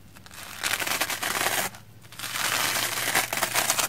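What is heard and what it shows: A round hair brush with black bristles and a wooden handle brushes across a red porous plastic foam sponge block covered in soap lather. It makes a bright, wet, crackling crunch in two sustained bursts, separated by a brief quieter pause near the middle.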